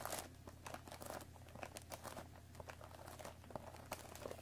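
Long nails scratch the top of a hollow cardboard Earl Grey tea bag box, then fingertips tap on it. Soft, dry crinkly scratches and quick bright taps come in a dense run over a steady low hum. The whole clip stays quiet and close, with each tap dying away almost at once.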